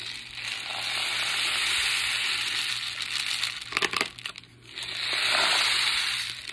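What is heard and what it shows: A homemade rain stick, a cardboard tube capped with muffin-tin liners held on by rubber bands and filled with rice and couscous, is flipped and shaken to test it. The grains make a bright, hissing rush inside the tube that swells and fades, then a short rattling burst, a brief pause, and a second long rush. The grains are heard clearly moving inside the tube.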